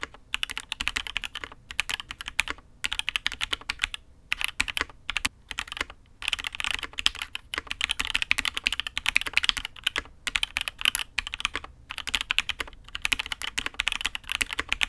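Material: Aluminium, ABS plastic.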